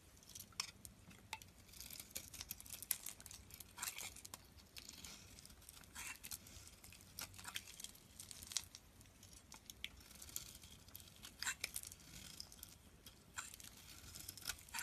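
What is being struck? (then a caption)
Bar of soap scraped with a steel blade. A solid yellow bar of soap held in the hand is repeatedly scraped with a steel utility knife blade, shaving off dry crumbles. The result is a quiet, steady run of bright, dry scratching and crackling, with many short, crisp scrapes and very little low end.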